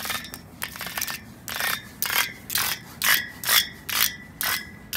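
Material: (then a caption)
Steel. Long pointed nails scratch and rub across the parallel bars of a steel drainage grating set over a hollow gutter. The result is a quick run of bright, raspy strokes, about two per second, each with a brief metallic ring and little low end.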